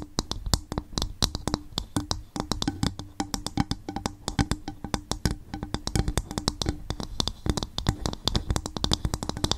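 A coconut shell bowl is gently tapped with the fingers on the microphone, giving a rapid, uneven stream of short, dry, hollow taps. Each tap has a deep low thump with a brief bright click on top and dies away almost instantly.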